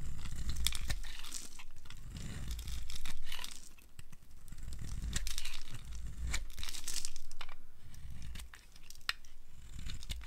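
A flat blade shaves a hand-sized solid bar of dry blue and white striped soap held in the palm, producing fluffy flakes. Repeated dry, crisp scraping and crackling strokes come in uneven waves with bright flicks, over a steady low rumble.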